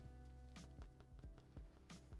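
A cheese bread loaf, just released from its pan, is tapped on its underside, giving a series of dull, low thumps over faint background music. The loaf sounds hollow, like the previous one, indicating it is baked through and done.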